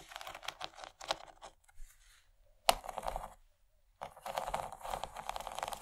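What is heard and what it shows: Long nails tap and scratch along the raised ridges of an empty, large rectangular yellow plastic tray with a bumpy corn-cob texture. Quick, dry, crackly scrapes and clicks come in bursts, interrupted by a quiet stretch and a single sharp, louder tap near the middle. After a brief silence, dense continuous scratching with a bright, gritty edge runs to the end.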